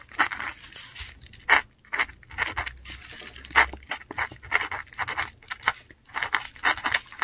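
A metal dip pen nib scratches across a flat sheet of textured Korean paper while writing inked words. Short, dry, scratchy strokes come in quick bursts with brief pauses, bright and papery with almost no low end.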